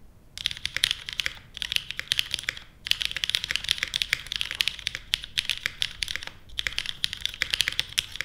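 Fingertips type steadily on a small white-cased 60% Portal mechanical keyboard with plastic keycaps and Kailh Stem MX Black switches. Bursts of sharp, bright clacks centered near 3 kHz come with brief pauses between them. There is almost no low-end thump, and each keystroke dies away instantly.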